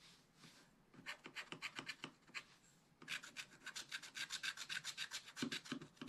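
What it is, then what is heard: Scratch-art paper being scratched. A wooden stylus held in the fingers scratches the black coating off a scratch-art page in a spiral-bound book lying flat on a table. Quiet, bright, rasping strokes come in a quick run, pause briefly, then resume in a longer, steadier series of rapid back-and-forth scrapes.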